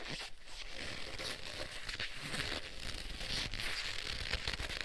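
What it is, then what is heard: Leather gloves rubbed together. Black leather gloves on both hands are pressed and rubbed together palm to palm, making the leather creak and squeak. The friction noise runs almost continuously with a bright, hissy top and a low rumble underneath, swelling slightly louder over the second half.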